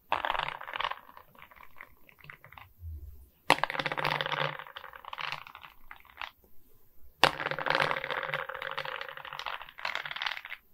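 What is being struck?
Resin bead diamond painting on a wooden-framed board.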